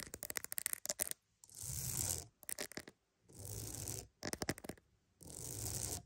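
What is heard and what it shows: A wooden mat is tapped and scratched up close, alternating between quick bursts of sharp, dry taps and longer stretches of steady, bright scratching with a soft low rumble underneath. The pattern of a tapping flurry followed by a sustained scratch repeats three times.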